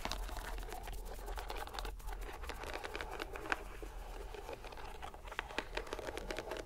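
A fist-sized soft green rubber mesh stress ball, wrapped in a white string net, is squeezed by fingers and palm while held over a dark table. It makes a steady, quiet crinkling and crackling texture with scattered small sticky pops over a low background rumble, and a few sharper snaps stand out near the middle and end.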